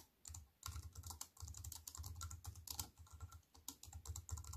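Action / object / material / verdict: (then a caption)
tap / compact keyboard with plastic keys and metal frame / plastic / none. Fingertips with white-painted nails type rapidly on a slim, compact wireless keyboard with black plastic keys in a grey metal-look frame, lying on a wooden table. The keystrokes come in dense bursts of short, dry clacks with a low thumpy body around 90 Hz and bright, crisp clicks on top. Each stroke dies away almost instantly, with brief pauses between the runs.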